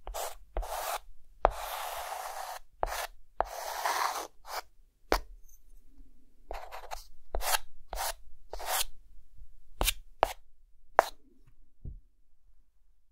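A hand draws camera details on a dark green chalkboard with a white chalk stick. The result is a dry series of scratchy strokes and longer rubbing passes with brief quiet gaps between them, plus a few sharp taps as the chalk meets the board.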